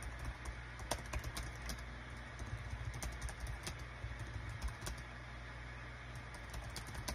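Fingertips of both hands type rapid key presses on a small green-and-white Dong Guan KPH-030 wireless Bluetooth keyboard with a built-in touchpad, its thin, hollow plastic body lying flat on a desk mat. The result is a quick run of light, short, clicky taps with bright edges that die away at once, over a steady low rumble.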